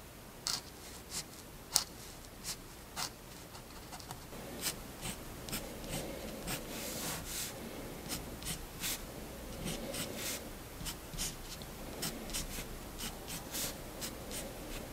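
A Faber-Castell fineliner pen tip, held in the fingertips, is scratched across a large white paper sheet lying flat on a wooden desk in short drawing strokes. Quiet, bright scratchy ticks come in irregular bursts over a soft, steady rasping hiss that thickens in the second half.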